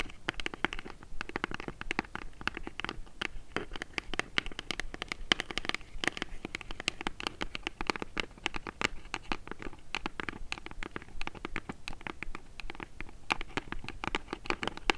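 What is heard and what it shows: Long nails rapidly tap and scratch the front panel of a small, hollow brown kraft cardboard box held in the hands. The sound is a steady, dense patter of dry, crisp clicks and scraping with a bright edge and a hollow body. Each tap dies away almost instantly.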